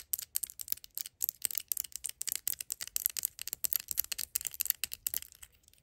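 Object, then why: Small plastic squeeze bottle. Long acrylic nails rapidly tap and scratch a small, hollow yellow plastic Hellmann's mayonnaise squeeze bottle replica held in the fingers. The result is a quick, uneven stream of crisp, bright clicks and scratchy ticks with almost no low end, each one dying away instantly.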